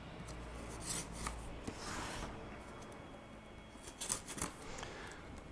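A slim handheld tool is run along the taped seam of a small, closed, hollow brown corrugated cardboard shipping box sealed with tape, which is steadied with both hands on a table. Quiet, bright scratching and slicing rubs scrape across the tape and cardboard, with sharper bursts near the start and end over a low background hum.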